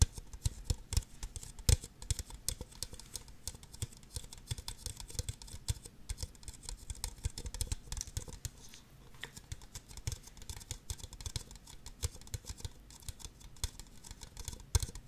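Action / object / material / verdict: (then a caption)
tap / plastic party cups tapped with fingernails / plastic / none. Long nails tap and scratch the bases and sides of two identical empty, hollow red plastic party cups held upside down. The result is a fast, steady patter of short, dry clicks with a hollow low knock beneath them and a faint bright scratchy texture, plus a few sharper taps that stand out.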